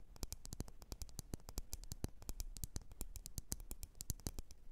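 Long nails tap and scratch around a lit, wax-filled red glass candle jar. Quick, sharp taps come in a steady, busy run, each with a bright click that dies away almost at once over a quiet, low rumbling background.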